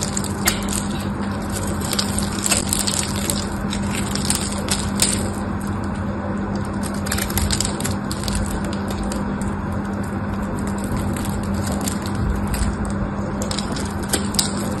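A solid pink patterned bar of dry soap is scraped and cut with a craft knife, giving a steady crunchy, crumbling scrape. Bright clicks and snaps from the blade break through a continuous low rasp as pieces crumble away.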